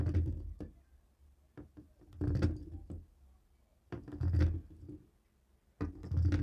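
A dark grey plastic cable TV remote resting on a wooden table is tapped and knocked with a jade roller. Dull, low thunks come in loose clusters of quick taps, with a few brighter clicks and very short decay between bursts.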